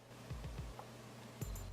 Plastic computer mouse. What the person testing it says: No rattle on that one.